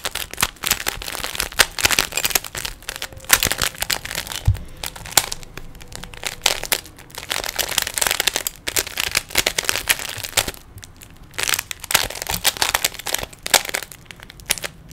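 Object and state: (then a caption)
Plastic puzzle cube being twisted. Fingertips twist the layers of a small, hollow plastic 3x3 Rubik's cube, producing rapid bursts of bright, dry plastic clicks and crinkly rattles. Brief pauses fall between the flurries of turning.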